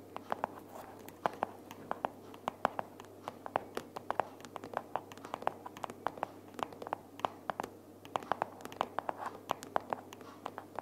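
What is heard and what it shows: Long nails tap and scratch the printed cover and flap of a pink cardboard sticky-notes box held upright. Dozens of quick, dry clicks with no ring land in an uneven rhythm over a soft, continuous scratching hiss, centered in the midrange.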